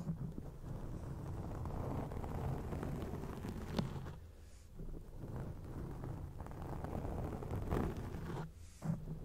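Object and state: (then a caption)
Foam microphone windscreen being scratched. Long acrylic rainbow nails and fingertips scratch and rub over a grey foam windscreen covering a microphone. A dense, rumbling, muffled crackle is heard, heavy in the low end, with brief softer dips near the middle and end and a few sharper scratches standing out.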